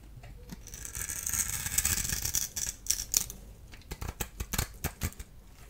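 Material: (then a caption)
Soap. A solid blue, white and yellow striped bar of dry soap, held in the hand, is scraped with a small blade tool. A bright, hissing scrape builds over the first three seconds. It then breaks into a quick run of short, crisp scratches and clicks.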